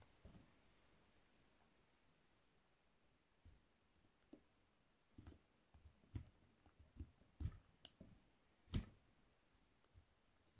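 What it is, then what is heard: Soap bar being carved. A solid pink soap bar is carved with a metal peeler-style tool, shaving off thin soap curls. Quiet, soft scraping and clicking sounds come in short, irregular bursts with little ring, mostly low in tone with brief brighter edges. Between them is near silence.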